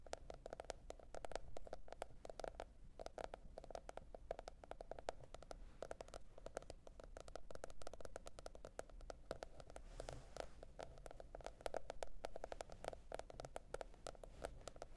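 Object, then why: Cardboard hardcover notebook. A teal printed cardboard hardcover notebook is tapped with the tips of long red nails. The result is a quiet, fast, continuous stream of short, dry clicking taps with a hollow mid-range tone around 660 Hz. Each tap dies away almost instantly over a steady low background rumble.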